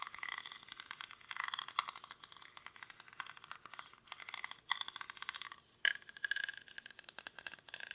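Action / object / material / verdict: scrape / woven rattan basket / rattan / none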